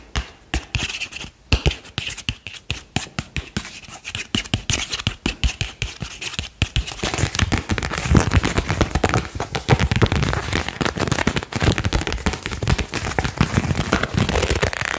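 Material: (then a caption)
Paper. A single thin printed paper card is scratched and flicked with the fingertips, giving quick dry ticks and scrapes. It is then bowed between both hands, and the sound thickens into a denser, louder run of crackling and rustling.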